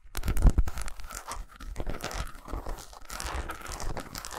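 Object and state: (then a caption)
Milk chocolate bar. Long pointed nails scratch and tap quickly on a solid milk chocolate bar of eight squares lying on a towel. The result is a dense run of dry, crackly scratching over soft, low thuds, with the loudest tap coming near the start.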